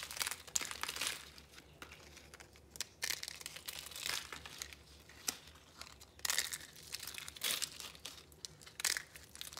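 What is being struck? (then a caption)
Dried soap pieces. Dried rainbow soap curls, pieces and crumbs on a red cloth are broken and crushed between the fingers. The result is dry, bright crunching and crinkling in repeated bursts, with sharp crackles and little low end.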